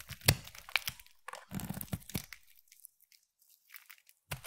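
A utility knife blade scrapes and shaves the edge of a solid rectangular translucent amber-striped glycerin soap bar. Irregular dry, crunchy scraping strokes crackle bright over soft low thumps, with quiet pauses between bursts. The strokes stop short with almost no ring.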